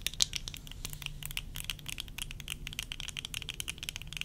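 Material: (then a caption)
Plastic. Long nails tap with both hands on the rims and lenses of worn plastic tortoiseshell eyeglasses. A dense run of quick, dry clicks with bright high ticks and a low rumble underneath sounds close-up and continuous, with each tap dying away almost instantly.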